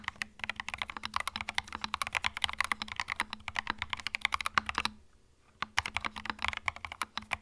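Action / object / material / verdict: tap / plastic mechanical keyboard / plastic / none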